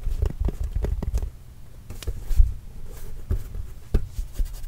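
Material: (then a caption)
Leather. A hollow, inflated Spalding Trail Blazers autographed leather basketball is tapped with fingertips close to the microphone. The taps come as a series of soft, dull, deep thumps, some in quick clusters and others spaced apart. Each thump is heavy in the low end and dies away almost instantly.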